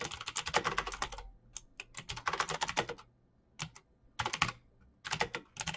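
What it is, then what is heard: Plastic mechanical keyboard. Both hands type fast on a backlit plastic Razer BlackWidow mechanical keyboard with clicky green switches, fingertips pressing the keycaps. Rapid bursts of sharp, bright, dry clicks come in quick runs separated by brief pauses, each keystroke dying away almost instantly.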